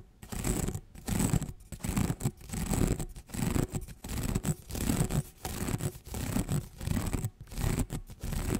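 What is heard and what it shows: Fingertips and nails run quickly along the ridges of an orange corrugated plastic tube held across the microphone. They make repeated bursts of fast, dense scratching and ratcheting clicks that are heavy in the low end. The bursts come in an uneven rhythm with brief quiet gaps between strokes.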